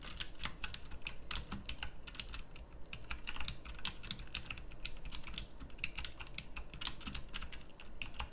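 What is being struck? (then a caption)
Plastic mechanical keyboard keys. Fingertips with long nails type on a pink backlit mechanical keyboard with round plastic keycaps. A rapid, uneven stream of sharp, bright plastic clicks sits over a steady low hum, each keystroke dying away almost instantly.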